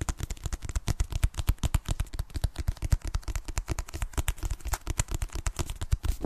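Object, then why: Paperback book (paper). A solid paperback copy of "Fragile Things" is held in both hands and tapped quickly with long nails on its front cover and back. The result is a fast, steady stream of short, dull, low thumps with faint bright clicky edges and no ring after each tap.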